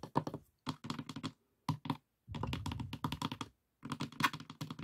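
Fingertips tap and knock on the inner walls and dividers of an open, light pine wooden box with compartments and small glass dishes inside. Quick clusters of dull, woody taps with very short decay come in bursts separated by brief silences.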